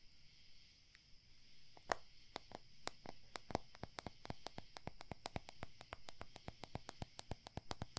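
Quick, steady tapping on a plastic CD case cover produces a long run of short, dry, crisp clicks over a faint high hiss. Each tap dies away almost instantly.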